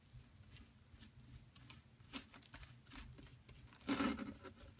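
A solid yellow plaster excavation block, held with long nails, is scraped and dug with a mint-handled metal digging tool, and chips fall onto the crumb pile. Quiet, gritty scrapes and small crumbly ticks patter along with bright, hissy edges. A louder, fuller scrape near the end rises above the rest.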